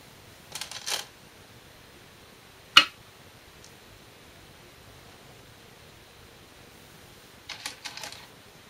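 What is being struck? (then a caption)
Glass go stones on a shinkaya wood go board. Size 36, 10.2 mm Korean glass go stones are placed on a 2-inch shinkaya wood floor go board during a game replay. A short cluster of bright clicks and rattles comes first, then a single sharp, crisp clack, and another quick burst of clicking near the end. Each stone lands with a brief, high, dry tap that dies away almost at once against near silence.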